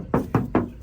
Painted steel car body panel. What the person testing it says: เสียงนี่เสียงเดิมบางเสียงมันโปร่งนี่คือเสียงสีเดิมนะครับ